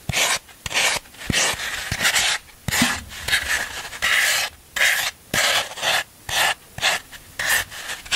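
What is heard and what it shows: A black tool scrapes along the rounded surface of a solid green floral foam block held by hand, shaving off foam. Each stroke makes a bright, crunchy rasping scrape, repeated in uneven bursts with short pauses between them.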